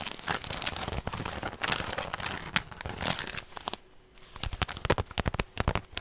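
A small woven straw handbag with a rope strap is handled by the strap, then long fingernails scratch and tap on its woven front close to the microphone. A dense, bright, crinkly scratching fills the first few seconds, then after a brief quiet pause comes a run of quick, sharp, dry taps.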